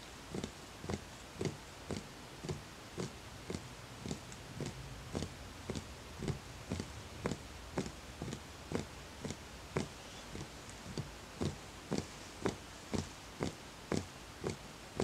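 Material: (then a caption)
Wood. A fingertip taps steadily on the side of a small, empty, hollow wooden bowl with visible grain, making 26 short, dry knocks at about two per second. Each tap is a brief hollow thud with a soft tone that dies away almost at once, over a quiet, low background hum.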